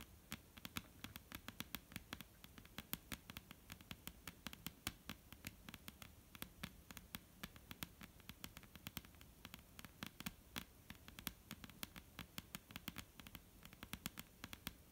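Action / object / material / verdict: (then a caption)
tap / wooden tabletop / wood / none. Long almond-shaped painted nails on both hands tap quickly on a flat, solid dark-brown wooden tabletop. The sound is a quiet, steady run of short, sharp clicks with bright edges that die away almost instantly, over a soft low hum.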